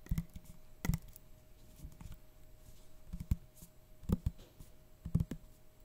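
A small glass bottle, apparently full of amber oil, with a white plastic cap and a paper label, is held in a man's hands and tapped and scratched with his fingertips and short nails. Quiet, dull, low-pitched taps sound in irregular bursts, with soft scratching in between. Each tap dies away almost instantly.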